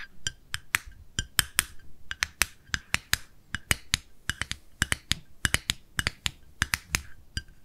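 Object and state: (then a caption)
Plastic cosmetic jar. Long nails tap quickly on the lid and sides of a small, round, light-pink plastic cosmetic jar with a screw lid, held in both hands. About thirty crisp, dry clicks come in an irregular, rapid stream. Each is very short and bright, with a faint ring near 3 kHz.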